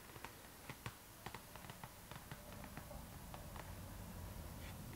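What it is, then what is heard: PVC zipper pouch tapped with nails. Long nails tap irregularly on the glossy plastic, with its white print, of a clear pink PVC zipper pouch, a transparent pink vinyl bag held upright. About ten quiet, sharp, bright clicks stand apart over a low rumbling hiss, with the tapping thinning out toward the end.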